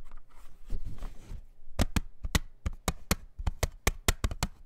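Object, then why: Plastic CD jewel case. Fingertips and nails tap on the front face of a hollow, thin-walled clear plastic CD jewel case with a printed cover insert, lying flat on a towel. Soft scratchy rustling in the first second and a half gives way to about twelve sharp, dry taps with almost no ring.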